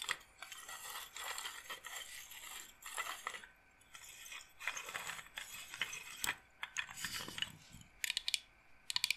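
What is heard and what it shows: A wooden-frame bead massage roller with rows of wooden beads is handled and rattled with fingers and long nails, giving bright, dry, ratchet-like bead clicks. Bursts of dense clicking alternate with brief pauses, ending in a few sharp, separate clicks.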